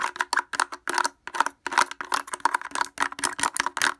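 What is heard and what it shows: Fingers wearing wooden clothespins rapidly tap the front of a blue plastic portable speaker with a hollow housing and grille. The result is a fast, uneven run of dry, clacking knocks, each with a hollow midrange tone and a bright edge, dying away almost instantly with brief silences between bursts.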